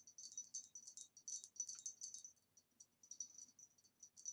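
Quick, light tapping on a green retro glass vase produces a steady stream of bright, clinking ticks. Each tap rings with a high glassy tone that dies away almost at once, in quiet, irregular bursts.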